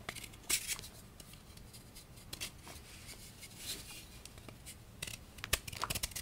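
A solid, palm-sized pink and white gym chalk block (magnesium carbonate), held in one hand over a bowl of chalk powder, is scraped and carved with a small patterned knife, shaving off flakes. Quiet stretches of soft, dry rasping are broken by short, bright, crisp scrapes and crackles, clustered near the start and the end.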